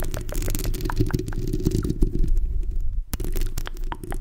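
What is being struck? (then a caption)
Metal mesh microphone grille. Long nails scratch across the hollow metal mesh grille of a black microphone, producing a dense, continuous stream of scraping crackles over a heavy low rumble. The sound briefly drops out just before the end as the hands lift slightly away, then the scratching resumes.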